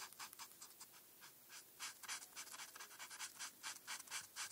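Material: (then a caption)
Paper. A felt-tip marker is scratched across a flat paper coloring page while coloring in a star. It makes a quick, uneven run of bright, dry scratching strokes, about two per second, that cut off almost at once over a quiet hiss with no low end.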